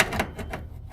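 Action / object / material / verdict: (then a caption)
scrape / steel chassis crossmember / steel / rotten. A chisel probes the underside of the rusted steel rear crossmember on a 1981 Range Rover chassis, producing short, dry crunching scrapes. The metal has rotted away with nothing left underneath, so the corroded crossmember is to be replaced.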